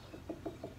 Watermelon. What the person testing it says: ดังแบบป้องป้องป้องป้องแล้วมันแน่นๆตันๆ